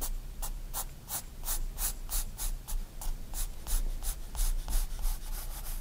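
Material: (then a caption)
Paper. A 4B pencil rubs back and forth in shading strokes across a white paper sketchbook page lying flat. Each stroke makes a soft, dry, scratchy hiss with a bright edge, repeating at a quick, somewhat uneven pace of about three strokes per second over a faint low rumble.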